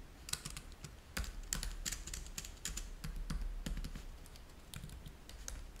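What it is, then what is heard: Plastic laptop keyboard being typed on. Both hands type fast with their fingertips on a black plastic laptop keyboard. Quick, uneven bursts of short, bright clicky taps fall over a low, steady hum.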